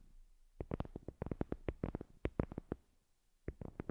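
Long glossy acrylic nails tap and scratch the surface of a thin, solid, flat heart-shaped absorbent paper board coaster with a printed white top and a dark edge, lying on a fluffy cloth. A quick run of dry, sharp clicks with scratchy edges fills the first part, falls quiet, then returns in a short final cluster. Each tap stops at once with no ring.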